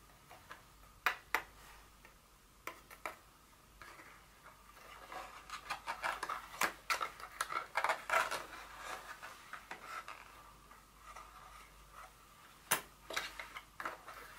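Long fingernails tap a small, empty white cardboard Dior perfume box insert, giving sharp, dry, bright clicks that die away almost at once, with a hollow tone around 2 kHz. The taps come in irregular bursts, and in the middle a denser run of papery scraping and rustling is heard as the insert is handled and lifted by hand, before a few more crisp taps.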